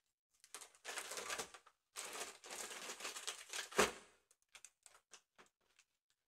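A large, round, inflated holographic mylar foil balloon, hollow and air-filled, is held in one hand while long acrylic nails and a metal claw ring tap and scratch across its taut surface. Long, bright, crinkly scratching sweeps build to one louder hit. Scattered light, crisp taps with very little ring follow.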